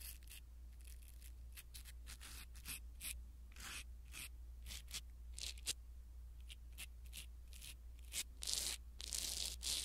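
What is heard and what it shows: A small black foam windscreen on a pin microphone is scratched and rubbed with a blue silicone-bristle ear pick. The result is close, soft, bright rustling and scraping in irregular bursts over a steady low hum, growing louder and denser near the end.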